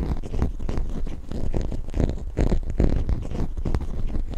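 A small solid plastic toy zebra figurine is held close to the mic and scratched and tapped with long fingernails. The result is a dense run of soft, low, muffled scratches and clicks with quick, dry taps and no ringing.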